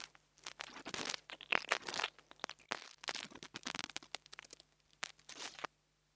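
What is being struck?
Mini lavalier microphone with metal grille.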